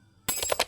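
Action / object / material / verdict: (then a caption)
tap / brazed metal joint / brazed metal / dull. A brazed metal joint that is empty inside is tapped five times in quick succession after a moment of silence. Each tap gives a short, dull knock with little ring, mostly bright with a mid-pitched tone, marking the joint as faulty and needing to be brazed again so the inside fills.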